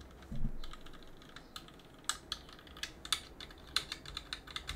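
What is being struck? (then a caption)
Plastic and aluminum mechanical keyboard. A gloved hand rubs a cotton swab between the plastic keycaps of a backlit plastic and aluminum mechanical keyboard. A soft low thump opens the clip, followed by a faint rubbing hiss and a scattered series of short, bright clicks and ticks as the swab catches on the keys.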